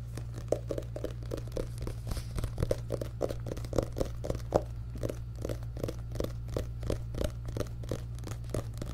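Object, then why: Paperback book with card cover. A medium paperback book with an orange and yellow card cover and a solid stack of pages is held up in both hands while fingertips and nails tap and scratch the cover and the book is handled. Quick, dry taps and scratches around 550 Hz repeat over a steady low hum.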